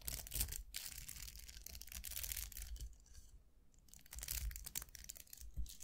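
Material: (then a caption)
Plastic. Fingernails scratch and flick the dense bristles of a round styling brush with a hollow vented barrel and plastic handle, held in both hands. Dry, bright crackling scratches come in quick bursts over a low rumble, easing off briefly midway before picking up again.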